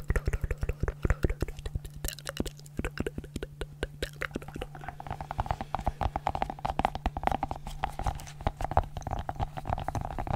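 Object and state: Silicone pop-it fidget ball.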